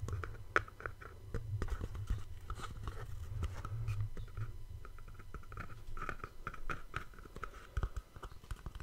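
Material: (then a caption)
Cardboard. A small, hollow white cardboard gift box with a ribbon bow is held close and tapped and scratched with fingertips and nails. Soft, dry taps and scratchy rustles come in quick irregular bursts over a low rumbling hum, with a faint mid-pitched hollow tone.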